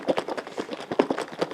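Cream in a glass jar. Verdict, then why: Liquid. Cream in a glass jar is shaken at the beginning of making butter, giving a rapid run of liquid sloshes and light knocks centered in the low mids around 400 Hz. This is the normal early stage, before the cream thickens into whipped cream and stops sloshing.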